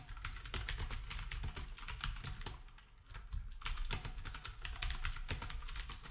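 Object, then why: Plastic keyboard with round keycaps. Fingertips of both hands type on a black retro typewriter-style keyboard with round plastic keycaps. A steady stream of quick, bright plastic clicks rides over a low, dull thump, easing off briefly around the middle before picking back up.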